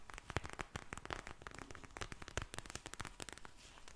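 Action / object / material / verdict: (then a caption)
tap / vinyl eye mask filled with gel beads / vinyl plastic / none. A pink vinyl eye mask filled with gel beads is held in front of a microphone and tapped, scratched and squished with long blue nails and fingertips. It makes a dense run of sharp, quick crinkly clicks and taps over soft low thumps, with a bright crackle that stops dead after each touch.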